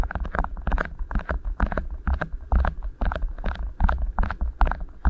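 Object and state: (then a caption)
Beeswax food wrap being rubbed. Fingertips gently press and rub two rolled, thin, flexible beeswax-coated cotton food wraps resting over a recorder's microphone capsules. The result is a steady run of soft, deep, bass-heavy thumps, each with a short sticky crinkle on top. The sound is close and muffled, with almost no high end.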